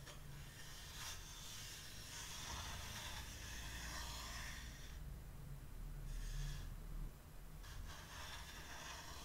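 Long, dark-painted nails scratch and rub across a flat, solid, varnished wooden plaque, about 30 cm wide and lettered "No admittance except on party business," lying on a teal cloth. Bright, breathy scraping hiss comes in sweeps, with a steady low rumble underneath and brief quieter gaps between strokes.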